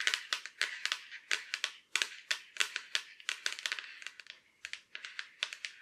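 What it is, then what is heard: Laptop lid tapped with long nails. Long black acrylic nails tap and scratch the surface and edge of the back of a silver Acer laptop lid, a thin hollow shell. There are about 29 quick, dry, bright clicks with short scraping between them, with almost no low end and very little ring after each tap.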